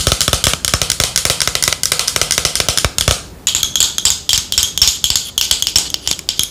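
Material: Plastic.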